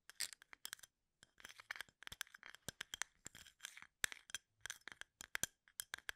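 Fingertips and nails scratch and flick the tops of wooden toothpicks standing upright in a full plastic cup. Quiet, bright, dry clicks and scratchy rustles come in quick clustered bursts, with a brief silent pause near the start and sharp ticks that stop instantly with no ring.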